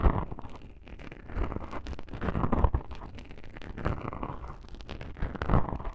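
Long pink-painted nails scratch two small black foam windscreen covers on a binaural microphone. The result is a dense, muffled, low rumbling scrape full of quick crackles, swelling louder in a few stretches, with almost nothing bright on top.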